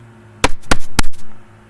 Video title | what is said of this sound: Where in the World are we going today - Snack Crate Tasting | you can hear just how hard that is